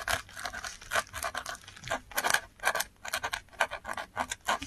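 A metal dip pen nib scratches across the fibrous surface of a flat sheet of textured Korean paper while writing Korean letters. Short, dry, papery scratches come in quick uneven bursts, bright and raspy with almost no low end, and each stroke stops abruptly.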